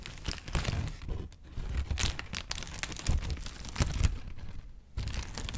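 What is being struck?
Thin paper sheet.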